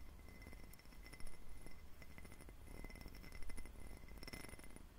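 Fingernails tap and scratch an empty, hollow, clear faceted glass tumbler with a diamond pattern, held close to the mic. Quick, light glassy clinks with short rings mix with scratchy rasping over a steady low hum.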